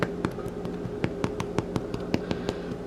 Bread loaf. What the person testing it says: that tapping sound on the top and bottom of the loaf